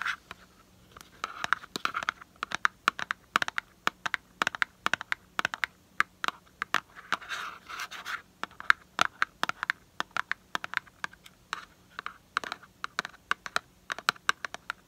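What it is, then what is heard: Cardboard box. Fingernails scratch and tap the surface of a small, hollow, printed cardboard box for sweet almond oil held in the hand. Dozens of quick, dry, sharp taps with almost no ring are mixed with short scratchy bursts centered in the upper mids around 1.4 kHz.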